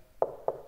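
Two taps on the horn of a Klipsch CF4 loudspeaker give short, hollow knocks centered around 650 Hz with almost no low or high end. The horn sounds very hollow and less damped than the other model, which has a system to add weight so it sounds less plastic inside.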